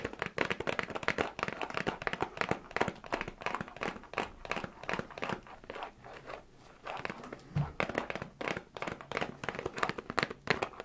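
A small printed cardboard New Year gift box with a red plastic-looking handle, hollow and apparently holding sweets, is held in both hands while fingertips and nails tap and scratch its sides. The result is a steady stream of quick, dry taps and crinkly scratches that die away almost instantly, with a quieter stretch around six to seven seconds.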